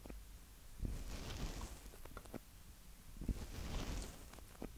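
Fingertips of both hands tap quickly on the two mic capsules at the top of a small black plastic Tascam DR-05X handheld recorder. The tapping comes through as two bursts of muffled, bass-heavy thumps and soft rustling patter, with very little high-end and no ring after each touch.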